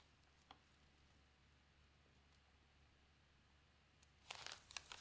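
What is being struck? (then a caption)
Newsprint newspaper. An open paper newspaper lies on a table while a page is turned, and fingertips with long nails rub and smooth the newsprint flat. After near silence with a faint low hum and one soft tick, a burst of bright, crisp crinkling and rustling fills the last second.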